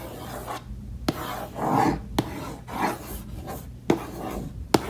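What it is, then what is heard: Wooden case lid scratched and brushed. Long nails scratch quickly across a hollow, reddish mahogany-finish wooden case lid, then fingertips brush it, making soft rasping, rubbing swells. Four sharp, brief clicks stand out between the scratches.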